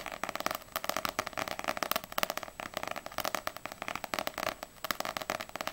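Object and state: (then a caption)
Paperback manga book. Long acrylic nails rapidly tap and scratch the glossy paper cover of a small, solid paperback manga, Ousama Game volume 4. The result is a steady stream of quick, dry, bright clicks with a scratchy texture, almost no low end, and no ring after each tap.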